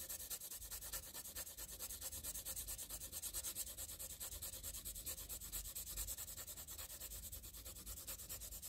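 The tip of a wooden graphite pencil scratches quick, repeated diagonal shading strokes across a flat sheet of squared graph paper. The result is a quiet, steady, rhythmic rasping with a bright, papery hiss and short strokes that stop cleanly, as dark graphite builds up on the paper.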